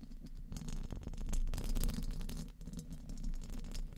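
Very long painted fingernails tap and scratch the round, hollow metal mesh grille of a large studio microphone. The result is a dense, irregular run of quick taps and scrapes with a heavy low thump and a short, dry decay.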